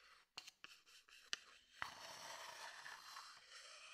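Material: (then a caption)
Wood. A thin wooden stick taps the rim of a medium, open wooden bowl, empty and hollow and held in one hand, with four quick, dry, bright clicks. It then scrapes steadily around the rim and inside for a soft, continuous, airy high scratching that fills the rest of the quiet clip.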